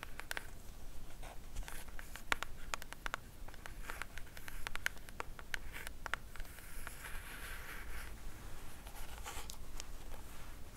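Long matte black nails scratch and tap across the surface and edges of a small pink cardboard jewelry box. Quick, dry, clicky taps with almost no ring are scattered over a soft, papery scratching hiss. The clip is quiet throughout, with a low background rumble.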